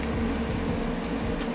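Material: Nothing is struck.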